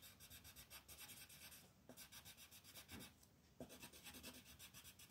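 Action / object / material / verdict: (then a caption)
scrape / wooden colored pencil on a paper sheet / paper / none. A peach wooden pencil shades a white paper coloring page on a table in quick back-and-forth strokes, making a soft, scratchy rubbing. The bright, hissy strokes repeat in a steady rhythm, with brief pauses near 1.8 and 3.5 seconds.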